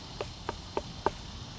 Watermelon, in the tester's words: That has a very flat sound.